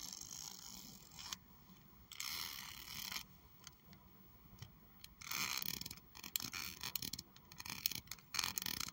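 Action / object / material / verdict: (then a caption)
scrape / plastic hair comb / plastic / none. A large, solid pink plastic hair comb with thin teeth, held in one hand, is scratched and flicked along its teeth with long acrylic nails. Bright, raspy bursts of scratching alternate with quick, sharp ticks and clicks, with quieter gaps between them.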